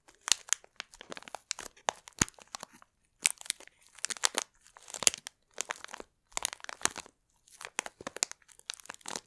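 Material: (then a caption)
Plastic. A small yellow-and-red printed plastic wrapper bag of Ahlgrens Bilar candy, filled with soft marshmallow-like candies, is held up in both hands and crinkled and squeezed by long blue-painted nails. Bright, crisp plastic crinkling and crackling comes in short bursts separated by brief pauses, with almost no low end.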